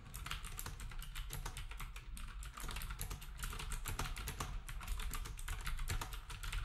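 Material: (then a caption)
Plastic. Fingertips type rapidly on a black compact plastic typewriter-style keyboard with round plastic keycaps. The result is a steady stream of sharp, bright clicks and clacks over a constant low rumble, and the typing grows slightly louder toward the end.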